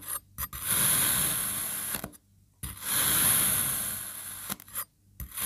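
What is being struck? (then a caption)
Molded kinetic sand cut with a knife. A black serrated knife presses down into a solid molded pink kinetic sand crab and slices it into strips. Two long, bright, gritty rasping strokes sound as the blade cuts through the sand, separated by near silence and brief soft taps.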